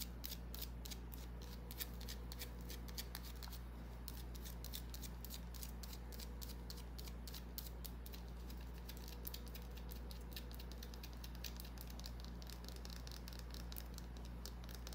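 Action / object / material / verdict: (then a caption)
scrape / small bar of soap / soap / none. Long nails tap and scratch a small, solid white bar of soap, making quick, bright, dry clicks and scrapes at a steady, uneven pace. A low, constant hum runs underneath throughout.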